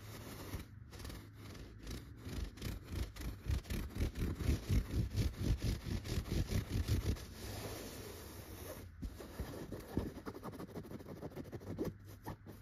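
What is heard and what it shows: Long red-painted fingernails scratch and pluck a soft, stuffed, yellow tufted chenille pillow, making muffled, low-heavy scratching strokes at about two per second. The strokes build louder through the middle, ease into a smoother continuous rub, then return as quieter, uneven scratches.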